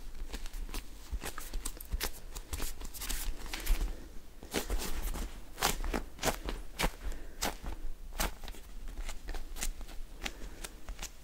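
Fingertips and short nails tap, scratch and squeeze a small, soft, solid polyurethane foam squishy toy shaped like a s'more, with orange cracker layers and a white marshmallow face, held in both hands. Quick, dry clicks and crackly scratches repeat irregularly over a steady low rumble.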